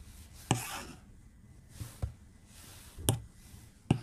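A white plastic stylus tip is rapidly stroked across the glass screen of a tablet lying flat on a desk. Quiet, short tapping clicks with low thumps land at uneven intervals, some trailed by bright, scratchy swishes as the tip drags across the glass.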